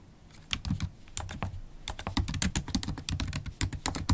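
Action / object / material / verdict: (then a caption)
tap / laptop keyboard, plastic keycaps in an aluminium body / plastic / none. Long acrylic nails type steadily on a MacBook Pro keyboard with black plastic keycaps in an aluminium body. The keys give quick, dry clicks and taps in a fast, uneven rhythm, with bright clicky tops over a soft low thud. The typing starts faint and grows denser and louder after the first half second.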